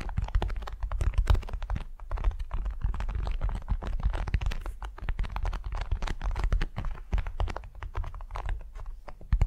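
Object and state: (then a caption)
Beeswax-coated cotton wrap. A large, flat, patterned beeswax-coated cotton wrap resting on a soft furry mat is scratched and tapped with the long nails of both hands. A dense, continuous stream of quick crinkly clicks and scratches plays over a heavy low rumble, with steady rapid taps throughout.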